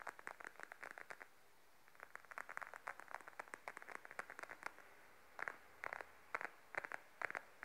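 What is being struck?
Patent faux leather wallet.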